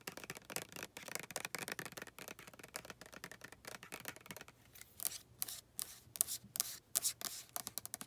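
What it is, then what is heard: Plastic lotion bottle. Long nails tap and scratch across the label and plastic of a white plastic lotion bottle. The result is a quiet, dense run of quick, dry clicks and rasping scrapes with almost no ring and little low end. The first half is a busier scratching texture, and later it shifts to sharper, brighter taps.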